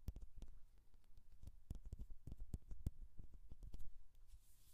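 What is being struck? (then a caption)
Metal mesh microphone grille. Long nails of both hands scratch close up on the hollow mesh metal grille of a Rode NT1-A condenser microphone. A quick, irregular run of dry scraping ticks and soft thuds is heard, heavy in the low end with brief bright streaks and almost no ring, ending in a faint bright rustle.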